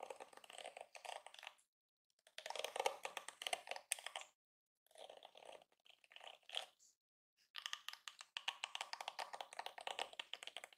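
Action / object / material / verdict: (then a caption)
scrape / plastic detangling hairbrush bristles / plastic / none. Fingertips with nails rake and flick the dense, flexible plastic bristles of a yellow and pink plastic detangling hairbrush lying on a counter. Rapid, bright plastic clicks and ticks come in quick runs, separated by brief silences, each tick dying away almost instantly with no low end.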